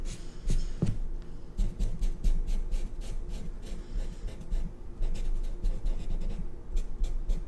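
A black marker tip scratches and rubs across white drawing paper on a clipboard, filling in a curved shape with continuous strokes. The quick strokes come as a string of dry, bright scratches over a low, steady rumble.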